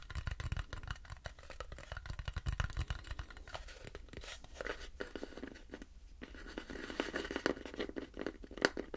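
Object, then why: Turned wooden bowl. Fingernails scratch and tap the curved underside of an empty, light turned wooden bowl held at an angle, dragging across its turned rings. A steady stream of dry, crinkly scratches is broken by quick, short taps that die out almost instantly, with a soft low rumble under the opening seconds.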